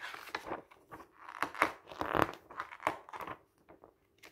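A hand slowly lifts and turns single pages of a glossy paper camping guide lying open on a table, rubbing the paper as it goes. Crisp, crinkly rustles and soft tearing-like swishes rise and fall in bursts, centered in the midrange with little low end. The sounds thin out to a few faint brushes near the end.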